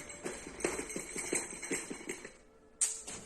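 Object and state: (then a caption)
Parcel rattling with small metal tins, not broken glass. A cardboard parcel marked fragile is shaken to check whether glass containers inside have broken, producing a series of bright, jingling metallic rattles followed by a short pause and one more rattle. The noise comes from small gold metal sample tins loose inside, not broken glass.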